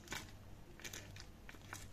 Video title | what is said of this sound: Recette de tartiflette sans crème fraiche | Comme ça croustille, ça s'est bien gratiné.